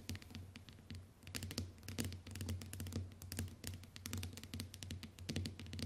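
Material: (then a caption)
Glass. Long white nails tap the glass screen of a small, flat smartphone lying on a wooden table, using both hands. Quick, uneven clicky taps with bright, short ticks come in dense bursts over a steady low hum.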